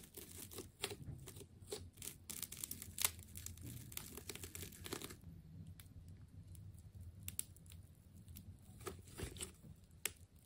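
A utility knife blade slices through a hand-sized, green and yellow ball of wound plastic tape, producing dense crinkling and tearing with sharp, bright snaps over a low rumble. The cutting is busiest for the first five seconds, then thins to scattered crackles and occasional louder rips.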